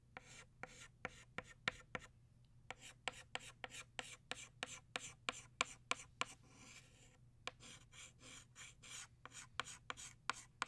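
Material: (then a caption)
Chalk. An orange chalk stick scratches across a flat black chalkboard, tracing petal outlines in quick strokes. The strokes make a steady run of sharp, bright ticks and taps joined by dry, raspy scraping, with almost no ring after each stroke. A faint low hum sits underneath.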